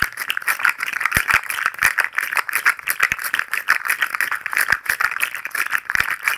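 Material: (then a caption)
Plastic. A hand-sized articulated fidget slug toy made of hollow, jointed, multicolored plastic segments is flexed and twisted in the fingers. Its segments give off a fast, continuous clatter of dry, clicky rattles centered around 1.9 kHz with bright highs and no low end, each click dying away almost instantly.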